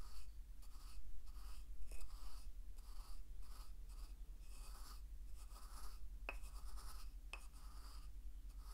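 A wooden pestle held in the right fingertips grinds salt against the walls of a hollow, carved wooden mortar held in the left hand. Rhythmic gritty scraping strokes come about once a second, with a couple of brief sharp clicks near the end, over a low steady hum.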